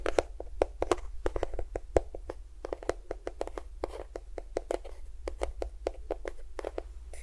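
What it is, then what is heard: Plastic lotion tube. A small cream-yellow plastic squeeze tube of lotion, hollow and at least partly filled, is tapped and scratched with fingernails while held close to the recorder. A quick, uneven run of short, dry taps and clicks has a hollow midrange body and bright ticking edges, with faint scratching between them. Each tap dies away almost instantly over a steady low hum.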